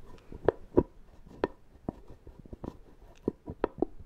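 Fingertips and nails tap the screw lid of a small, round, apparently full plastic shaving cream tub. Nine short, dry, irregular taps give hollow mid-range knocks that stop dead with no ring.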